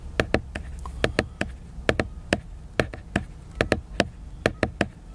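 Fingertips tap the glossy cover of a large, solid, flat laminated cardboard hardcover book. Nineteen short, dry taps land in an uneven rhythm, often in quick pairs, each with a dull low-mid knock that dies away almost instantly. A low steady hum sits underneath.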